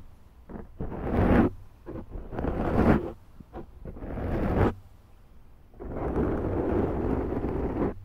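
Long nails slowly scratch the top and sides of a large round black foam windscreen on a Zoom microphone. Deep, rumbling scrapes rise and fade in uneven bursts, with short quiet gaps between the longer strokes. The clip ends on one long, sustained scratch.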